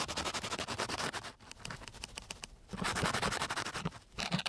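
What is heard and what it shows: A flat wooden stick is dragged back and forth along the surface of a flat, gritty, coarse sandpaper sheet, giving rapid, bright, raspy scratching strokes at roughly four per second. The strokes come loud and dense, ease into a softer, lighter stretch in the middle, then return to full, gritty scraping toward the end.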